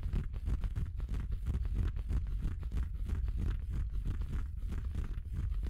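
Fingertips scratch and rub a red felt Christmas stocking with a white faux-fur cuff, soft, hollow and apparently empty. The result is a steady, close, muffled scratching and rubbing that stays low and dull, with quick soft strokes blending into one another and no bright edge.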